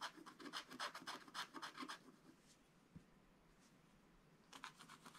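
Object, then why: Coated scratch-art paper scratched with a wooden stylus. A wooden stylus scratches quick strokes across the tractor on a black coated scratch-art page in a spiral book, making dry, bright rasping sounds. A burst of rapid strokes gives way to a quiet pause with one faint tap, then the scratching starts again.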